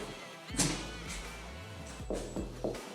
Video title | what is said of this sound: Je suis dégoûté… Cet appart à rénover à Paris au métro Père Lachaise était parfait pour moi | Ça sonne creux. Je pense pas que ce soit une ancienne cheminée.